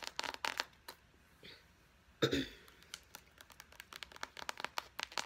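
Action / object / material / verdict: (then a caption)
tap / soft plastic squeeze tube / plastic / none. Long blue acrylic nails tap and crinkle a hollow, hand-sized Pacifica body butter squeeze tube made of soft white plastic. Quick, sharp, bright clicks come in scattered clusters, with a louder crinkling crunch partway through, and each tap dies away fast.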